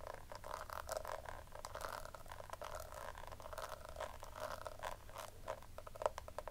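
Long manicured nails tap and scratch the embossed lace-pattern lid of a small, round, hollow pink plastic compact powder case held in the hand. The result is a continuous stream of quick, light clicks and scratchy rasps centred in the midrange with a hollow ring. A low hum sits underneath, and a sharper tap stands out near the end.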